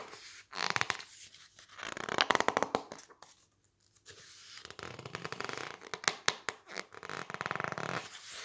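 Fingertips squeeze and rub the thick glossy pink and green pages of an open softcover glossy paper magazine book while turning them. Bursts of bright, crinkling rubs and rapid crackling clicks come and go, with a short quiet pause in the middle. The sound is dry and close with almost no low end.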